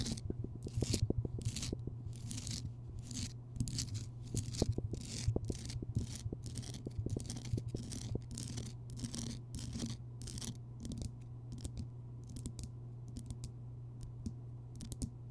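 Long nails scratch and tap rapidly on the rough surface of a large, solid Himalayan rock salt lamp, recorded close up. Bursts of bright, gritty scraping alternate with sharp little taps over a steady low hum.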